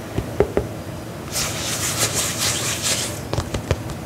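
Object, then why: Faux leather boot upper. A black faux leather lace-up combat boot, held upright close to the mic, has its upper tapped and scratched with fingernails. A few dull taps come first, then about a second and a half of bright, hissy scratching across the leather. A final cluster of short, crisp taps closes the clip.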